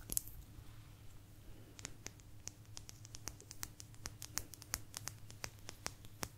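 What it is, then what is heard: Blue agate slice. A small, thin, solid blue agate slice held close to the microphone is scratched and tapped with long nails. Quick, irregular, bright clicks and scratches repeat over a quiet low hum, each tap dying away almost instantly.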